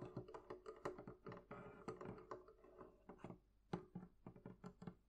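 Long nails tap the wooden planks on the top of the lid of a medium, hollow, closed wooden barrel chest. The result is a quick, irregular run of soft, dull, hollow knocks with a low-mid resonance and very short decay, some taps clustering into brief rolls.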